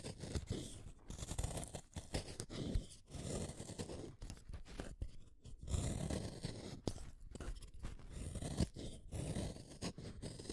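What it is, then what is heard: Wooden colored pencil being shaved. A small, solid orange wooden colored pencil is shaved with a utility knife blade. Repeated dry, crunchy scraping strokes come in uneven bursts with short pauses between them. The sound is mostly low and muffled, with only faint bright edges.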